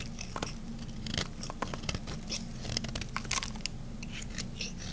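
A solid, hand-sized cream bar of dry and semi-dry soap is scraped and carved along its edge with a small metal blade. Repeated crisp, bright cutting strokes crackle and crunch over a steady low hum, and each stroke stops short with no ring.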